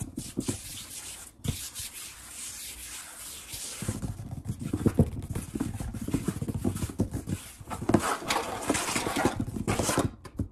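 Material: Wood.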